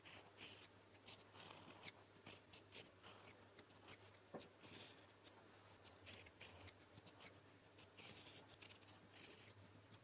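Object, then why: Metal fountain pen nib on paper sheet. A gold metal fountain pen nib held in the fingertips writes Korean characters in blue ink on a flat sheet of lined paper. Soft, bright scratching strokes come in quick bursts against a low steady hum. The level stays quiet throughout.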